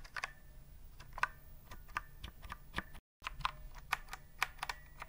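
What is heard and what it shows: A retro typewriter-style keyboard with round chrome-rimmed plastic keys and a hollow body is held upright near the mic while its keys are pressed with fingertips. An uneven run of sharp, hollow, bright plastic clacks plays over a low background rumble, broken by a brief moment of silence partway through.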